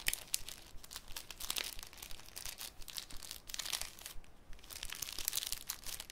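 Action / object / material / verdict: scrape / thin clear cellophane sheet / cellophane / none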